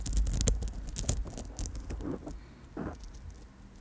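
Long nails tap the stones of a bracelet made of amethyst chips and drop beads on gold-tone wire, held in front of the microphone. Quick, irregular taps and bright clicks patter over a low rumble, growing gradually quieter toward the end.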